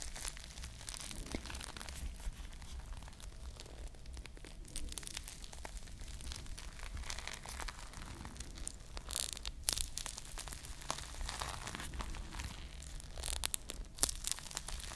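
A foam squishy ice cream bar toy covered in plastic bead sprinkles is held in one hand and squeezed while long nails scratch across the beaded surface. Dense, crinkly scratching and crunching rattles on continuously at a soft level, with brighter bursts of bead clicks standing out now and then over a low, steady rumble.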